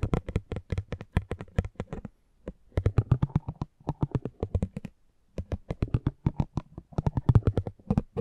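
A metal spiked pinwheel is rolled across the face of a small, thin cardboard driver trading card held in the hand. It makes rapid trains of dry, low, tapping clicks with almost no ring, in three runs separated by brief pauses.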